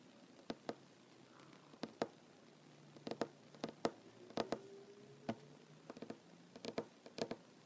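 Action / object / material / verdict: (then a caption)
tap / wooden tabletop / wood / none. Short nails on one hand tap a large, solid wooden tabletop in quick, irregular bursts, about two dozen dry clicks spread over several seconds. Each tap is sharp and brief with almost no ring, set against a quiet background with a faint low hum.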